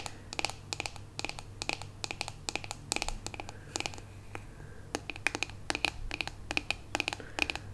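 Long pink acrylic nails tap and scratch the hollow, glossy rose-gold metallic-finish plastic back of a handheld paddle hairbrush with black bristles, held up close. Quick bursts of sharp, bright clicks with a hard plastic ring are heard, each dying away almost instantly, with faint scratchy rubbing between them over a low steady hum.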